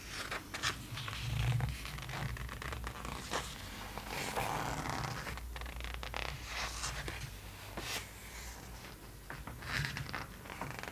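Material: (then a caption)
Coated paper. Long acrylic nails trace and tap across the printed glossy pages of an open magazine lying flat, producing dry scratchy scraping strokes and brief bright taps over a steady low hum. A page is turned near the end with a brief rustle.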